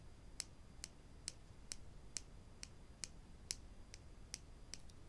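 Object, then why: Wooden spring clothespins. Two small, solid wooden spring clothespins, one held in each hand, are knocked and clicked against each other with the fingertips over a wooden table, possibly with clicks from their spring clips. Twelve short, dry, bright clicks come at a steady pace of about two per second, each dying away almost instantly over a faint low background hiss.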